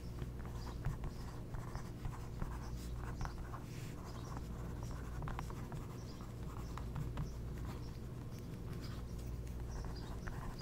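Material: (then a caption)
Coated paper. A thin wooden skewer held in the fingertips lightly traces and scratches across the surface of an open glossy magazine page, a thin coated paper page with a printed ad, lying flat. The result is a steady, soft papery scratching with small tapping ticks throughout, over a low constant hum.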